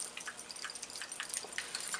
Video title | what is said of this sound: Products Im not In Love With Anymore!?!? | I hope you can hear that it is super like liquidy